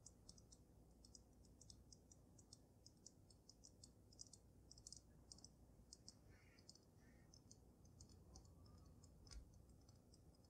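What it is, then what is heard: Glass snow globe. Fingernails tap on the sides and top of the dome of a water-filled glass snow globe, making a steady run of quick, light clicks with bright, high ticks. A few louder taps stand out over a low, quiet rumble.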